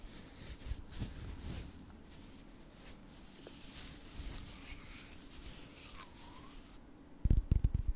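A palm-sized solid orange Himalayan rock-salt block has its surface rubbed and scratched with fingertips and nails, producing quiet, dry, gritty scratching with bright hiss. Near the end, a cluster of louder, short, low thumps and handling knocks comes in.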